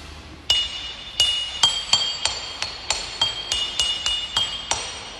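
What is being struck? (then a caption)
Small lithophone stone. A modest-sized lithophone stone is struck 13 times at an uneven pace, each hit giving a bright, glassy ping centered near 3.2 kHz with even higher overtones. The stone's tone is so high that its harmonics are barely audible, and each ring fades within a fraction of a second.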